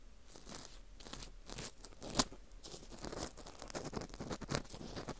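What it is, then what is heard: Dried wheat gluten ring scraped. An orange plastic earpick scrapes inside the hole of a small, hollow ring of dry, porous baked wheat gluten (fu) held in a gloved hand. The result is quiet, irregular dry scratching and crunchy crinkling with bright, airy highs, and one sharper crack stands out about two seconds in.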